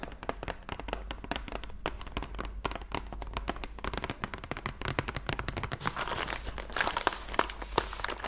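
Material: Cardboard.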